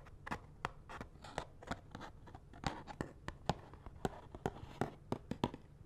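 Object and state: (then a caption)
Cardboard box of latex gloves. Fingernails scratch and tap on a small, hollow cardboard box of latex gloves with the gloves inside. Sharp, dry, papery taps rise out of a soft scratchy rustle at an uneven pace. Each tap dies away almost instantly, with a faint hollow body beneath it.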